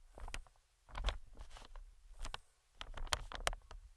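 Metal tweezers tap and scratch the film of an inflated, medium green plastic-film air cushion. Soft, dull taps with a low, hollow thump come in irregular clusters, mixed with bright, crinkly scratching of the plastic. Each sound dies away almost at once between the quiet bursts.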